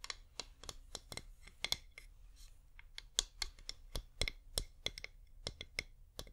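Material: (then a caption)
Wax. Long painted nails tap rapidly on a flameless wax pillar candle held at an angle. The taps come out as quick, irregular, bright clicks that stop dead with no ring, over a faint low rumble.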